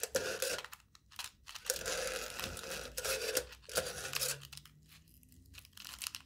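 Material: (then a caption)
Aluminium foil. A knife tip stabs and scratches aluminium foil stretched taut over the mouth of a hollow cup. Bursts of bright crinkling and tearing come in bunches with short quiet gaps, carrying a hollow tone from the cup underneath.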